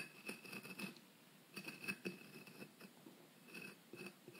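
A small metal pick scratches and scrapes a solid white, brick-sized plaster block from a dinosaur excavation kit, which is held steady by hand. The result is quiet, gritty scraping in short bursts with a bright, hissy edge and a faint low body. Brief pauses fall between the strokes.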